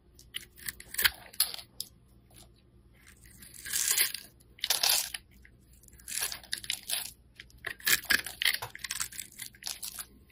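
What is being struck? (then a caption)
Solid soap bar scraped with a metal blade. A metal utility blade scrapes cubes and shavings off a hand-held solid black soap bar. Short, bright, crisp scraping and crunching strokes come in bursts, some longer and grainier, with quiet pauses between them.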